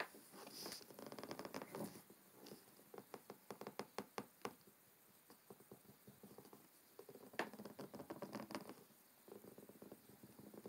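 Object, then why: Cloth-covered hardcover book. Fingertips of both hands tap on the front cover of a large, thick, solid hardcover book with a dark blue cloth cover, lying closed on a wooden table. Soft, quick, muffled taps come in irregular bursts with brief pauses, giving a dull, papery patter with little ring.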